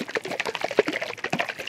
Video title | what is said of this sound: Mature Coconuts & Coconut Sprouts from the Dollar Store | that's generally a good thing when you hear water sloshing around in a coconut